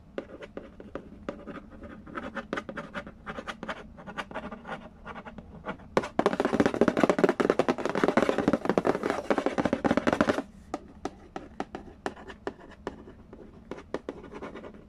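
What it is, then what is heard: Cardboard board game box. Fingertips and nails trace and scratch the glossy cover of a hollow Candy Land printed cardboard board game box lid, making a steady run of quick, dry taps and scratchy strokes. From about 6 to 10.5 seconds the scratching turns dense and louder, then drops back to lighter, sparser taps and traces.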